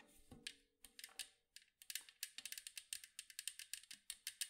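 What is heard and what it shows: Long acrylic nails tap fast on the curved side of a large, round, hollow metal cookie tin with a blue and white striped side. About 25 sharp, bright clicks come in a quick, uneven run, each dying away almost at once, with little low end.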